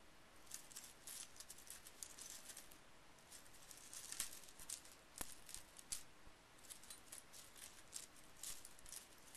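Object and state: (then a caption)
Small metal brad fasteners. A fingertip and index finger poke and stir a pile of small metal scrapbooking brad fasteners on a bamboo mat. The result is quiet, bright, high clinks and ticks scattered throughout, with short rattling bursts over a soft hiss.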